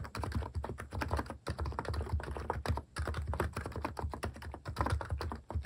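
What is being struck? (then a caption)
Compact keyboard with plastic keycaps. Fingertips type rapidly on a compact capacitive keyboard fitted with plastic cat-shaped keycaps. The result is a dense run of soft, deep, thocky keystrokes with very little high-end click, broken by two brief pauses.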